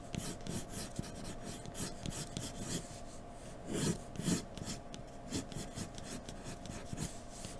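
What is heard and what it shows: A graphite pencil in a blue extender, held by the fingertips, scratches and shades across a large, solid, thin white drawing paper sheet lying flat on a dark table. Dry, raspy strokes repeat with bright high hiss and brief louder swells, over a steady low hum.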